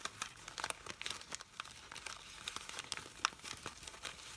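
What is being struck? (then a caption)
Fabric artificial rose. Fingers with long pink nails squeeze, rub and crinkle the petals of a hand-sized red fabric artificial rose. The result is a quiet, dense run of dry crinkling and rustling with many short, bright ticks and crackles scattered throughout.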